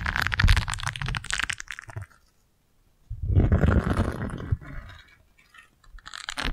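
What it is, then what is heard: Silicone scrub pad. A single thin, flexible, round yellow silicone scrub pad is held close to the microphone and scratched and bent with long nails. Dense bursts of crackly, rubbery scratching with a low rumble underneath come in two main stretches separated by a near-silent pause, then fade and pick up again briefly at the end.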